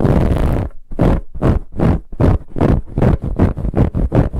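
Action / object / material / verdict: scrape / ribbed fabric pillow / fabric / none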